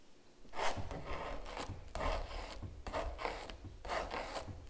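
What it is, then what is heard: Palette knife scraping gel on stretched canvas. A small metal palette knife scrapes and scratches gel across the painted animal on a large stretched canvas giclée print lying flat. It makes a series of short, raspy scraping strokes with a bright, gritty texture over a low, soft rumble. Each stroke ends quickly, with little ring.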